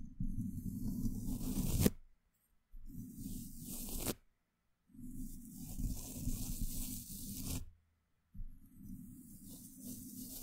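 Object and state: Metal microphone grille brushed.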